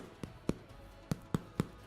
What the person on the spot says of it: I took the bread out of the tin and I wanted to hear that hollow sound and then you know it's fluffy and cooked on the inside